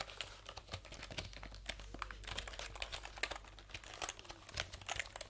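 Fingertips rapidly type on and tap the round plastic keycaps of a backlit plastic computer keyboard held diagonally. A fast, uneven stream of crisp, bright clicks and clacks rolls on, with sharp, short taps over a faint steady low hum.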